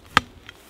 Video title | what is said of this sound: Pierres à fleur de landes | l'idée c'est de vraiment écouter l'ensemble de la zone pour voir s'il n'y a pas une pierre qui affleure au niveau de l'humus